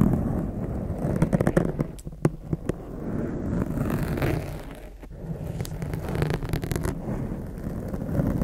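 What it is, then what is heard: Foam microphone windscreen being scratched. Long acrylic nails scratch and tap the top and sides of a blue foam microphone windscreen. The result is a dense, low, rumbling scratch with bursts of sharp clicky taps, clustered early in the clip and again near the end.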